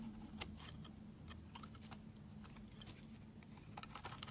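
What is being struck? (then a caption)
Bar of soap shaved with a metal blade. A metal utility-knife blade shaves thin flakes off the edge of a rectangular, solid white soap bar held in the hand. The result is a run of quiet, crisp, bright scraping strokes over a steady low hum.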